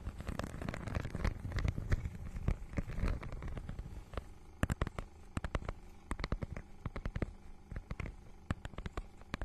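Long nails scratch and tap across the iridescent, scale-textured cover of a small rectangular book bound in holographic faux-leather mermaid-scale material, held in both hands close to the mic. A dense, low rumbling scratch fills the first four seconds, then gives way to sharp, separate taps and clicks over a soft background hiss.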